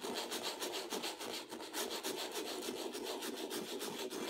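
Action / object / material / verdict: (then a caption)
scrape / textured acrylic-painted canvas rubbed with sandpaper / canvas / none. A small folded piece of sandpaper held in the fingertips is rubbed over the upper and left areas of a stretched canvas with a textured acrylic surface, while the other hand steadies the canvas. The result is a steady, quick back-and-forth rasping scratch, about three strokes a second, with a gritty midrange body and a bright hiss on top and no low end.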